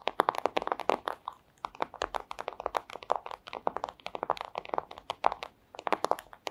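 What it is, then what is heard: Plastic sleeve. Long acrylic nails tap and scratch a flat, thin clear plastic pouch in a rapid, uneven series of short, crisp clicks and crinkles. The sound is dry and brittle, centered in the mids around 800 Hz with bright edges, and has almost no low end or ring.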